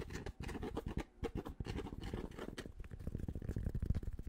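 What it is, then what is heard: Fabric baseball cap. Fingertips scratch and tap quickly on the fabric crown of a grey Penn State baseball cap. The result is a dense run of soft, dull, low-pitched scratches and taps with no ring.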